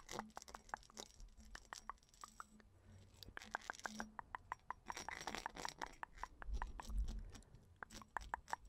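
Long nails tap and scratch across the textured surface of a small, hollow, round purple studded glass perfume bottle. A rapid, irregular series of quiet, sharp clicks with a bright tone near 1 kHz mixes with soft scraping rasps. Each tap dies away almost instantly.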